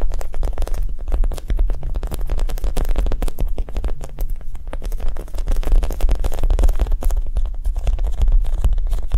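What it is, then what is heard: Foam squishy toy tapped. A Japanese cheesecake squishy, a soft foam toy, is tapped quickly and gently in a steady, non-aggressive rhythm. The taps are dull, muffled thuds with almost all their energy in the low range and very little brightness. Each tap dies away instantly, blending into a continuous soft patter.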